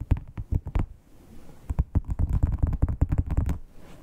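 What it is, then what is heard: Textured leather wallet. Long pointed nails tap and scratch the scales of a dark red matte crocodile-textured, croc-embossed leather wallet. A burst of sharp taps gives way to a soft scratching lull, then a denser run of crisp, low, thudding taps and scrapes.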